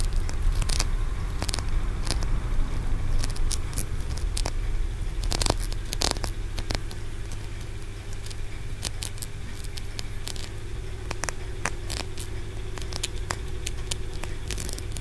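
Fingertips and short nails tap and scratch the stacked ridged tiers of a small solid translucent green aventurine stone pagoda, a Wenchang tower about 10 cm tall held in both hands. Irregular sharp clicks and brief scratches sound over a steady low hum, with the clicks slightly louder in the first half and easing a little after the midpoint.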